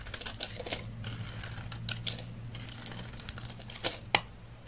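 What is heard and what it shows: A utility knife blade shaves and cuts a solid rectangular bar of dry olive-green soap held in the hand, peeling off thick curls. Crisp, bright scraping and crackling strokes run over a steady low hum. A sharper, louder snap near the end stands out from the rest.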